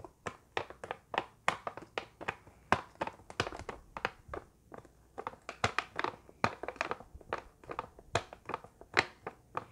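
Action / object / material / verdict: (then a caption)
tap / small cardboard box of cotton swabs / cardboard / none. A hand-sized, hollow, printed rectangular cardboard box labeled 375 cotton swabs, apparently full, is held in both hands, tapped and scratched with long painted nails and squeezed lightly. The result is a rapid, irregular run of dry, crisp taps and brief scratchy crinkles, each ending almost instantly, with bright upper content and very little low end. The taps are closely spaced and uneven in strength.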